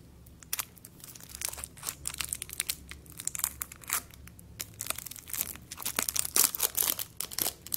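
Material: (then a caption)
Aluminum foil. A small lollipop on a white plastic stick, wrapped in crinkled aluminum foil, is held and peeled open with long yellow acrylic nails and fingertips that crinkle and rub the thin foil. The result is a quiet, steady stream of bright, crackly crinkles and sharp snaps in irregular bursts, with almost no low end.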